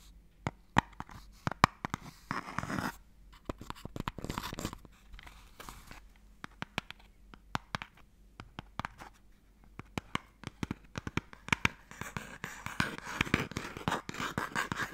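A wooden Mikado box has its lid scratched with fingernails; then its open tray is held upright and scratched inside with a fingertip, the empty box sounding hollow. The sound is quiet, dry, crackly scratching full of sharp clicks and ticks that die away instantly, over a faint steady low hum.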